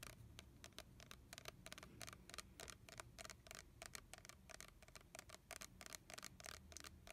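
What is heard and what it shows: Fingernails scratch and tap the printed label of a red plastic body-mist bottle with liquid inside, held upright in both hands. A quiet, rapid series of dry, bright clicks rises over a soft scratchy rustle and a faint low rumble, and each tap dies away almost instantly.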